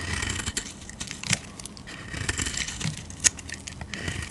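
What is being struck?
Bar of soap scraped with a blade.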